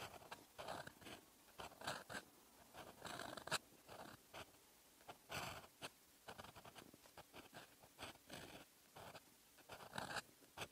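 A metal fountain pen nib scratches across a flat, lined paper notebook page, writing in red ink. Short, bright, dry scratching strokes come one after another in irregular bursts, with brief quiet gaps between them.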